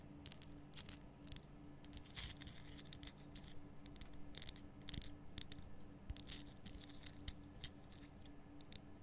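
Long nails scratch and tap a large, rough, glowing pink Himalayan rock salt lamp, a solid salt block cupped in both hands. Quiet, dry, bright scratches and sharp ticks come in quick irregular bursts, each dying away almost instantly, over a faint steady low hum.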